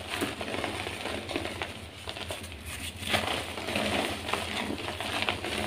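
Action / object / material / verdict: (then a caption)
scrape / gym chalk blocks / chalk / none. Bare, chalk-covered fingers with long nails grab chunks of solid, dry white gym chalk blocks from a pile in a tray and squeeze and crush them until the soft, crumbly blocks break into loose powder. A steady run of dry, bright crunching and crackling is heard, with short grainy snaps over a soft powdery rustle.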